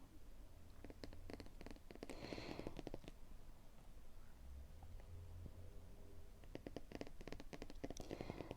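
Fingers tap on a robust hardcover photo album with a London Tube map cover, originally from Paperchase. Quick clusters of soft, dull taps come in bursts near the start and again at the end, with a quieter stretch in between, all over a low, muffled background.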